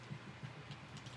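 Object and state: Nothing is struck.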